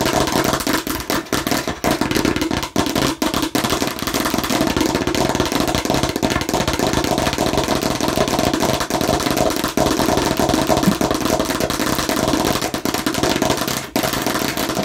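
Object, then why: Plastic watermelon-slice bottle. Long nails tap very fast with both hands on a hollow plastic watermelon-slice bottle, making a dense, continuous clatter of hollow plastic clicks. The sound holds a steady level with a mid-range hollow tone and only a few brief dips.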